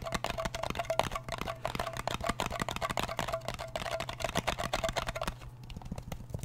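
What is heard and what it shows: Fingernails tap quickly on the lid of a small round blue metal Nivea cream tin held close to the mic. The result is a dense run of sharp, dry clicks over a faint, steady metallic ring and a low hum. Near the end the ring fades out and the tapping continues softer.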